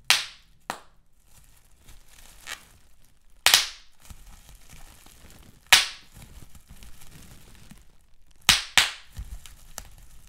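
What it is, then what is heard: Bubble wrap being popped. Fingertips with medium-length pink nails squeeze, pinch and crinkle a large crumpled sheet of clear plastic bubble wrap with big air-filled bubbles, close up. Seven sharp, bright pops snap out with quick decays, two of them in rapid succession near the end. Soft plastic crinkling fills the gaps between them.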